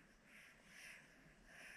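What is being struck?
Nothing is struck.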